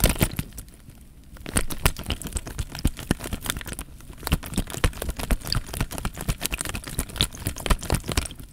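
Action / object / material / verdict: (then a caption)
scrape / plastic bag with water / plastic / none. Fingertips crinkle and squeeze the loose film of a clear plastic bag partly full of water, making dense, irregular crackles and sharp bright snaps over a soft, low, squishy rumble. After a brief quieter lull near the start, the crinkling picks up again and continues steadily in quick, uneven bursts.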